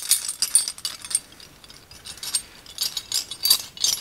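A ring of several old, long, dark, solid iron skeleton keys is held up by hand and shaken, so the keys jangle and clink together. The sound is bright, high metallic clinking in irregular bursts with almost no low end, each clink dying away quickly.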